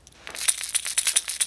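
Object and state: Fishing lure with internal rattle beads.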